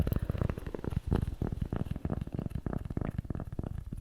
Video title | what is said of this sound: Gibi ASMR Toaster Coaster Cork Tapping, Tracing, Scratching & Unboxing | This is a cork coaster, shaped like a piece of bread. Like a piece of toast.